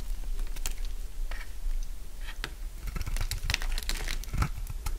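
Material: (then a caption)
Soap. A dry, solid purple bar of soap about the size of a palm is held in the hand and shaved with a utility knife blade, so curls peel off it. The sound is a series of short, crisp scraping and crunching cuts with bright crackle over a low background hum.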